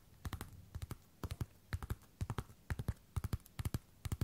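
Long red and black nails tap and scratch the hard fronts of a worn pair of black glossy patent platform boots. About 26 short, dry, low-pitched taps land in quick clusters of three or four, with almost no ring after each one.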